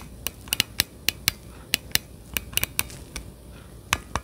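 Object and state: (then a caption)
Plastic game controller grip, tapped. Gloved fingertips tap and click the surface and buttons of hollow plastic Nintendo Switch Joy-Con controllers attached to a handheld-size plastic grip, held behind the microphone. About fourteen sharp, bright plastic clicks come at an irregular pace, each ending almost instantly, over a quiet, low background hiss.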